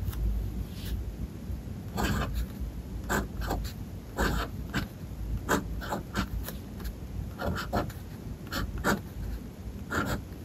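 The steel nib of a blue-and-gold fountain pen writes letters on a white paper page of a spiral-bound sketchbook lying flat on a desk. Soft, continuous scratching comes in short, irregular strokes over a low background rumble, with brief brighter scrapes as each letter is formed.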